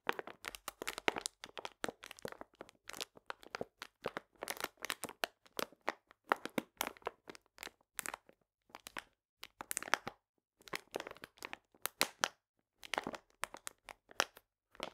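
A full paper cane sugar bag, held upright, is squeezed and rubbed with fingertips and nails. It gives dense, bright crinkling and crunching in short bursts separated by brief pauses, with quick, dry crackles that stop almost instantly and almost no low end.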